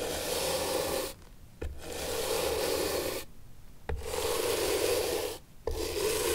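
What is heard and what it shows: A bristle brush is rubbed over the sole of an antique leather shoe held upright on a table, sole facing out. Four long, steady scrubbing strokes produce a dense, bristly rasp with a mid-range body around 470 Hz. Each stroke is separated by a short quiet gap, with a faint click as the brush restarts.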